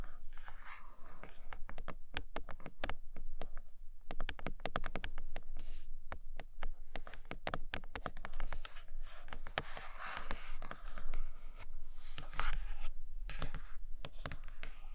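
Long nails rapidly tap and scratch the surface of a flat grey cardboard tablet case box with a plastic window and a red case inside. Quick, dry clicks come in dense bursts, mixed with brushing scratches and a low steady hum underneath.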